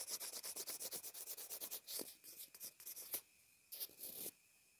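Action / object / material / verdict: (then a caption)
scrape / plastic inline earphone remote / plastic / none. A pencil point rubs and scratches across a small white plastic inline earphone remote/mic. It makes a quick run of short, bright, dry scratchy strokes, fast and somewhat uneven at first. These thin out into a few slower scrapes with brief pauses, and there is no low rumble.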